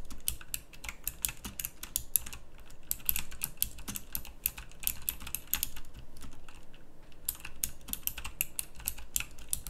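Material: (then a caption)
Plastic. Both hands type with their fingertips on a full-size backlit pink mechanical keyboard with round plastic typewriter-style keycaps. A steady stream of short, bright, clicky keystrokes comes in quick bursts with brief pauses, over a faint low hum. Each click stops almost instantly with no ring.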